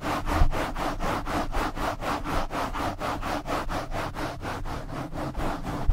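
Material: Foam.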